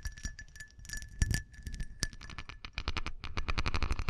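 Dense, quick taps on a glass object give a stream of short, bright clicks and clinks. A faint steady high tone rings through the first half. The taps come in uneven bursts, denser and louder toward the end.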